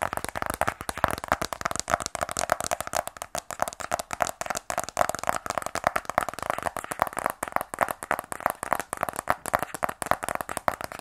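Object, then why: Rigid cardboard phone box. Fingernails tap rapidly and continuously on a small, closed, black rigid cardboard iPhone box held in both hands. The taps are crisp, dry clicks with a hollow, boxy mid-range tone around 650 Hz and very little low end. Each tap dies away almost instantly.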